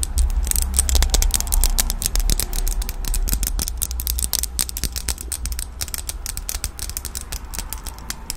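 A small red plastic disposable lighter with a metal top is held in both hands while long nails and fingertips fiddle with it close to the microphone, clicking and flicking its mechanism. Rapid, irregular, sharp clicks and bright ticks sit over a steady low hum, growing slightly quieter toward the end.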